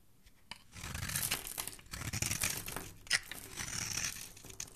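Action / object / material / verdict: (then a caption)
scrape / bar of soap / soap / none. A hand-sized, solid rectangular pink soap bar with embossed lettering is held in the hand and scraped and carved with a metal utility knife blade, shaving off crumbly flakes. Dry, bright crunching and tearing scrapes come in rapid, overlapping strokes after a quiet start, with a sharp louder crackle just past the three-second mark.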